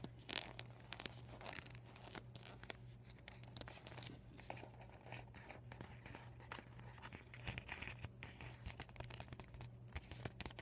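A deflated, empty PVC vinyl beach ball with yellow and white panels and marker writing is scratched with nails and crinkled between fingers. Dense, continuous crinkling and scratching with bright, crackly highs runs throughout over a steady low hum, in a small indoor space.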